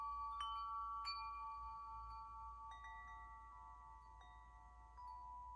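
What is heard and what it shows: A hollow metal tube wind chime is held up and swung so its striker rings the tubes. Overlapping clear metallic tones around 1.1 kHz, with bright overtones, are struck repeatedly and sustain for several seconds. The ringing layers into a quiet, shimmering wash that slowly fades.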